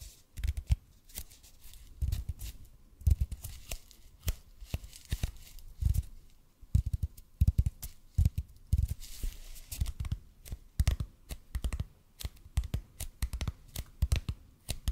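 Fingertips tap and scratch on a large, hollow, red-and-white bead EPP foam roller placed close to the mic. A slow, uneven series of soft, deep thumps lands between dry, bright scratching clicks. Each tap dies out almost at once.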